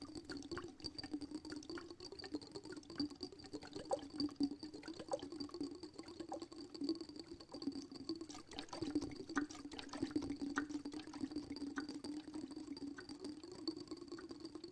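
Fingernails tap on the wall of a small, clear glass jar with a dark lid, filled with sparkly water, while the jar is held in one hand and tilted, possibly swirling the liquid inside. Quick, irregular light clicks and taps sit over a steady low ringing tone, with soft watery movement and a faint high, steady whine throughout.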